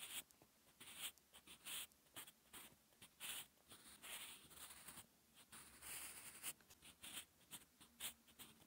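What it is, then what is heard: Pencil writing on textured paper. A wooden graphite pencil writes dense handwriting strokes on a flat sheet of lined, textured paper. The result is about seventeen quiet, bright, dry scratching bursts in an uneven rhythm, each stopping abruptly with almost no low end.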